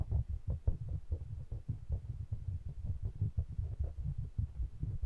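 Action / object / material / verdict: tap / pair of small metal-bodied condenser microphones / metal / none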